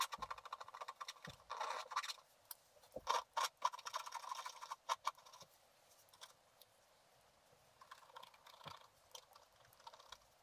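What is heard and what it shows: A wooden stylus scratches a flat sheet of black wax-coated scratch art paper, working along the ornament and stocking areas. Short, dry scraping strokes come in irregular bursts, centred around 1 kHz with a bright, gritty edge and almost no low end. The scratching grows quieter and sparser in the second half.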